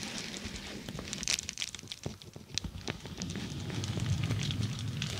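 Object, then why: Plastic bubble mailer. Long nails scratch a dark glossy plastic bubble mailer laid over the microphone, making a busy run of bright, crackly scratches and small ticks. A heavy low rumble underneath swells louder toward the end.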